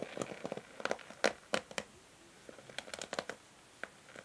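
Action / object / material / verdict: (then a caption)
scrape / plastic hair brush with bristles / plastic / none. Long nails strum and scratch the white bristles of a pink plastic hair brush. The result is a quiet, uneven series of dry, crackly scratches and short bright flicks, each dying away almost instantly, with brief near-silent gaps between bursts.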